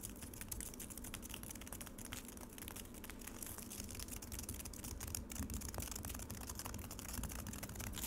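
Long acrylic nails on both hands tap and scratch rapidly across a solid slab of frozen lemonade set in a black rectangular plastic tray. The result is a dense, steady stream of quick, dry clicks and brittle scratches with bright crackly edges over a low, rumbling body.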